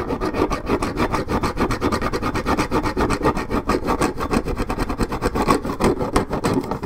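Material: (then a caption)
Paperboard. Long nails scratch hard and fast at one spot on a 1.75 L Minute Maid paperboard orange juice carton, scraping the coating off the cardboard. The result is a steady run of rough, dry rasping strokes with a low, papery body and a bright, gritty edge.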